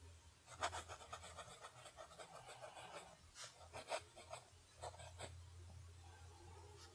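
A fountain pen nib writes cursive strokes on a flat sheet of lined paper, its scratching against the paper coming in quiet, irregular bursts of bright, dry rasping. A steady low hum runs underneath.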